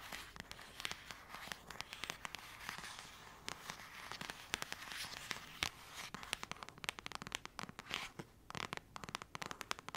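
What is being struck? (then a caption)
Paperback book with a card cover. Long acrylic nails rub and scratch the cover of the same thick paperback novel, making a dense stream of dry, bright scratching and crackling ticks. The sharp, quick clicks sit over a soft hiss, with almost no low end. They come in uneven bursts that swell and fade.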